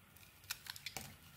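A utility knife blade scrapes and carves shavings off a hand-sized, solid rectangular bar of white soap with a purple glitter coating, held in the hand. Four quick, bright, crisp scraping cuts are heard, each dying away almost instantly over a faint low background.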